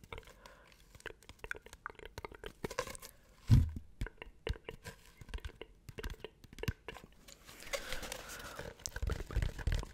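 A long, hollow, empty brown cardboard tube held in both hands is scratched and tapped with fingertips and nails close to the mic, producing dense, crunchy, tearing textures that are mostly low and dull. A heavier thump stands out about a third of the way in, and the last few seconds turn into steadier, rougher scratching.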